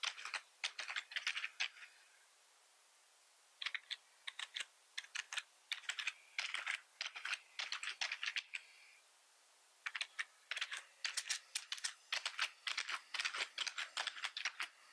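One hand types with its fingertips on the keys of a black plastic computer keyboard. Quick bursts of bright, crisp clicks sound with no low-end thud, each keystroke stopping almost instantly. The typing comes in runs separated by brief pauses.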